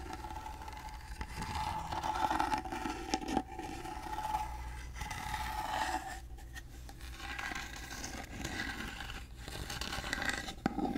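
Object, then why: Small carved wooden box. Fingernails scratch over the carved surface of a small, hollow, rectangular gold-painted wooden box held in the hand. The result is a continuous, dry, rasping scrape with a faint hollow resonance and brief louder swells, occasionally punctuated by sharper clicks.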